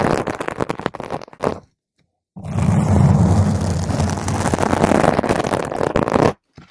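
A round purple foam microphone windscreen is scratched with long nails from the top and the sides, giving a dense, rough crackling scrape heavy in low rumble. Quick scratching bursts come first, then a short silence, then about four seconds of steady, intense scratching that cuts off abruptly.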